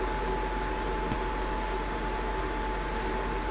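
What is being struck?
Nothing is struck.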